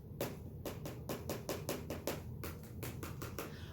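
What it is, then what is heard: Hollow end of a cardboard tube. A cardboard paper towel tube, capped at both ends as a model branch, is tapped with paper-wrapped fingers to imitate aye-aye percussive foraging. A quick, uneven series of soft, dull, hollow taps with a short ring follows. The tapped end is confirmed hollow, with a paper insect inside.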